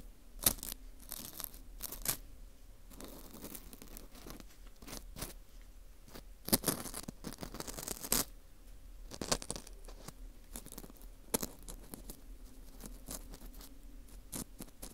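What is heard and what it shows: A metal dental scaler hook scrapes around inside the center hole of a dry, porous slice of dried wheat gluten fu ring. The result is a quiet series of brittle, bright scratching and crunching strokes, many of them separate, with short tearing rasps in between and no ring after each stroke.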